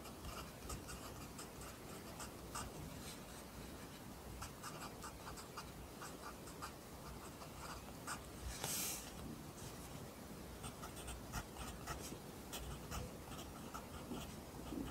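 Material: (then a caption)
Paper. A wooden pencil held in the fingers writes on an open lined paper notebook resting on a desk, its graphite tip scratching across the thin sheet over the solid surface. Quiet, continuous scratchy strokes with bright, hissy edges come in short bursts, and one stronger, brighter scrape stands out just before the nine-second mark.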